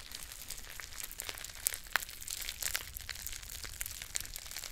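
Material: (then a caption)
Metal foil. A green metallic foil tea pouch is squeezed and crinkled while long painted nails scratch its label. A steady, bright crackle of foil carries sharp clicks and ticks throughout. The sound is quiet and close, with little low end.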